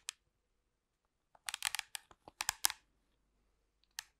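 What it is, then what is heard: Plastic TV remote control. Long pink acrylic nails tap and scratch the casing and buttons of a hollow black plastic TV remote control held close to the microphone. Quiet, dry, bright clicks and scratchy crinkles come in a sparse series, with a dense cluster in the middle. Each one stops almost instantly, leaving near silence between them.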